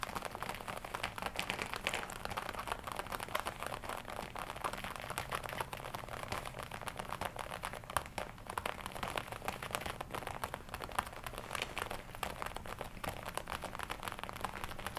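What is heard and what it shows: Long red-polished nails and fingertips tap and scratch the chest panels of a glossy black leather jacket worn on the body. The result is a quiet, steady stream of dense, dry tapping and crinkling, with short clicks over a soft, mid-toned rustle throughout.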